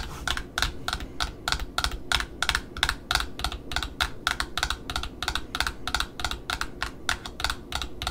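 Long metallic nails tap and scratch the printed Offray cardboard end disc of a black satin ribbon spool held in hand. About 34 quick, dry, bright clicks come in an uneven rhythm over a steady low rumble, each dying away almost at once.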